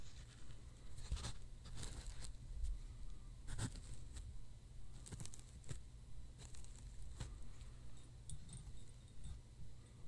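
A roll of white embossed paper towel is held upright in front of a microphone while fingertips and nails handle and scratch its surface and unroll a sheet. Soft, irregular bursts of dry scratching and crinkling flick up into bright highs over a steady low hum.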